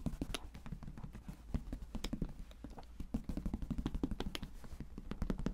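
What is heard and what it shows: Fingertips tap rapidly on the top flap of a closed, hollow brown leather briefcase, first held up and then laid flat on a table. The taps are soft, dull and low, with a muffled thump and almost no ring. They come in a quick, uneven patter with occasional slightly sharper clicks.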